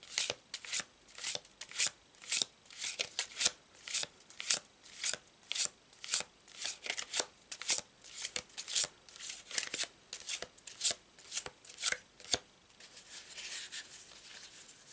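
A paper tarot deck with a checkered back is shuffled overhand with the fingertips, the cards rubbing and flicking together in bright, crisp bursts roughly once a second at an uneven pace. At the end the deck is squared on a cloth under the palm, leaving a softer, continuous high rustle.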